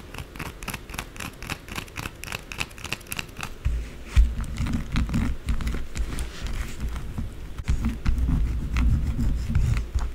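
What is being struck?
Solid soap bar scratched and tapped with acrylic nails.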